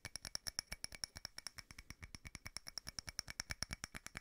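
A small frosted glass votive holder with a candle inside is tapped rapidly with multiple fingernails. About 39 quick, dry clicks come in an uneven stream, each bright, high glassy tick dying away almost instantly.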